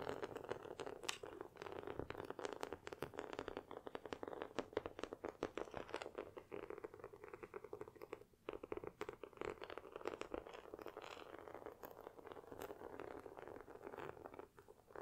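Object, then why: Flat cardboard box tapped and scratched with fingernails. Long nails tap and scratch along the top and edges of a long, flat white cardboard Apple Watch box lying on a table. Quick, dry, papery clicks and scrapes come in a dense, steady run, centered in the midrange with little low end. There is a brief lull just past the midpoint.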